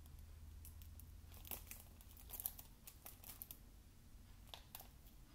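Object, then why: Plastic game case wrapped in cellophane film. Fingertips scratch and tap the glossy cellophane film on a shrink-wrapped plastic video game case, held close up. Soft, bright crinkles and sharp little ticks come in irregular bursts over a steady low hum. The film crackles with each touch.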